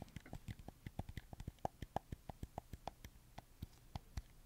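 Fingertips press and scratch the buttons and sticks of a red camo PS4 game controller made of hollow plastic, close to the mic. About 28 quick, dry clicks and taps come in an uneven rhythm, each with a dull low knock and a short hollow tone near 770 Hz. Faint scratchy friction fills the gaps, and nothing rings on after each hit.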